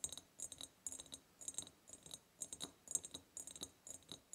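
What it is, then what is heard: Ribbed glass jar. Long purple nails tap rapidly on both sides of a large, hollow, ribbed clear glass jar. The result is quick clusters of bright, high, clicky ticks with very short decay, coming in bursts about every half second with little low end.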